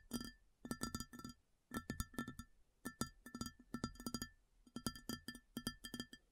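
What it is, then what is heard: Ceramic plate tapped with fingernails. Long fingernails tap an empty, large round white ceramic plate in quick clustered bursts separated by brief pauses. Each tap is a sharp click with a short, bright ring: a low body near 230 Hz, clear tones around 1.4 and 1.8 kHz, and high overtones that die away fast.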